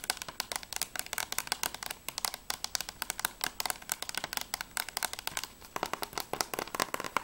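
Long nails tap fast on the back cover and top edge of a closed, hollow plastic PS3 game case for The Walking Dead. The result is a rapid, continuous stream of dry, bright clicks that stop almost instantly, with a faint hollow plastic tone and almost no low end.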